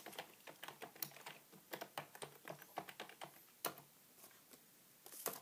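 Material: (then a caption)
Plastic. Fingertips type continuously on a beige full-size plastic computer keyboard resting on a wooden table. About two dozen quiet, bright, sharp clicks come in irregular bursts, with a brief lull near the end before a few final louder taps. Each click dies away almost instantly.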